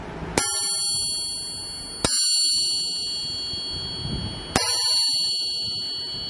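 A forged aftermarket steel crankshaft is tapped three times, and each tap rings out with a clear, high metallic tone that sustains for a long time. This long ring marks it as a good forging, unlike a stock crankshaft.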